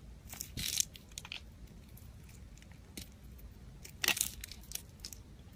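A black utility blade shaves curls off a solid pale soap bar held in the fingers. Soft, bright scraping and crisp crunching come in short bursts, with the loudest cuts near the start and around the four-second mark, over a quiet background.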